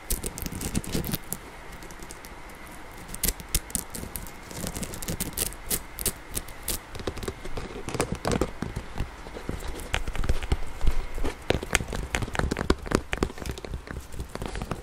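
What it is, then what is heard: Plastic inline skate, tapped and scratched. Fingernails tap and scratch the ribbed hard plastic side panel and buckle area of a blue and yellow inline skate with a hollow boot lying on its side. Dense, irregular clicking and scraping taps fill the clip, with bright transients over a low, hollow thud from the boot.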